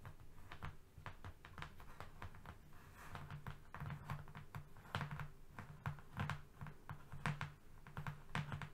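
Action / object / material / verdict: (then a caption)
tap / flat cardboard sheet / cardboard / none. Both hands tap fast with their fingernails on a flat strip of brown cardboard. The result is a quick, uneven run of short, dry clicks over a low hum, with brief bright ticks at the top.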